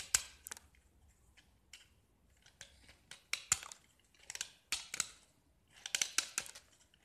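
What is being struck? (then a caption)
Painted gypsum block. A metal utility knife blade scrapes a small solid gypsum block, mostly white with remnants of green paint. The result is a run of short, dry, bright scraping strokes with quick gritty attacks and almost no low end, separated by brief quiet pauses.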